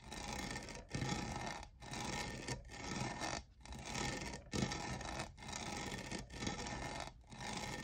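Fingernails scratch and rub the faceted, jeweled side of a tall, hollow, lavender plastic studded tumbler that appears empty. Continuous broadband rasping strokes repeat about every second, separated by brief quiet gaps. The texture is gritty and scratchy, stretching from low body up into a bright, hissy top end.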